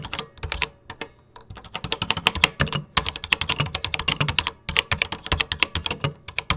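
Fingertips with short nails type on the cream plastic keycaps of a 1986 Tandy Color Computer 2 keyboard. A quick, uneven run of dozens of short, bright plastic clicks, with brief pauses between bursts. Each keystroke is sharp and dry, with a light low thump underneath.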